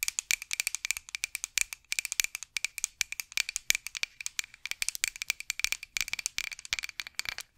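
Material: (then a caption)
Wood. A solid, light wooden rolling pin with handles, held over the mic, is scratched and tapped with long acrylic nails. The result is a rapid, dense run of sharp, dry clicks and scratches that are bright and high, with a steady tone near 2.3 kHz and almost no low end. Each sound is very short with no ring.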